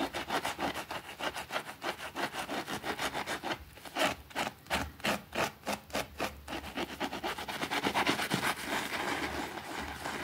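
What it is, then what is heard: Small fabric rug being scrubbed. A white plastic brush scrubs a small, thin green fabric rug that is wet and soapy on a concrete floor. Quick back-and-forth strokes, about three per second, make a bright, wet rasping sound. The strokes grow sharper and more spaced out in the middle before settling back into a steady scrub.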